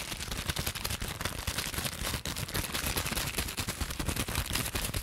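Clear plastic bubble wrap with air-filled bubbles is pinched and popped between fingertips and long nails. Sharp, rapid pops crackle densely for the whole clip, with bright snaps over a low rumble and no pause between them.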